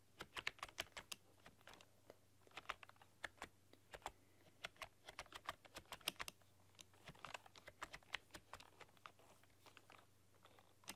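Long dark-polished nails and fingertips type on a full-size plastic RGB-backlit computer keyboard with black keycaps and a rainbow backlight, pressing and clicking the keys. A quiet, rapid, irregular run of sharp, bright clicks and taps is heard, each dying away almost instantly, over a faint steady low hum.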